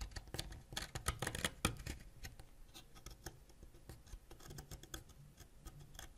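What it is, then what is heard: Wax crayon being scraped. A white ceramic knife, held by fingers, scrapes flat across a solid purple wax crayon, building up wax dust. Quick, irregular dry scratches with bright crackly edges sit over a soft low rumble, louder and denser in the first two seconds, then thinner and quieter.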